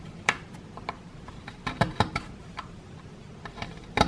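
A solid plaster excavation block, held in one hand, is scraped and chipped with a wooden stick near its lower edge. Sharp, dry ticking clicks come at irregular intervals over a faint, steady background hiss. Each click is brief and bright with almost no ring, and a few land louder than the rest.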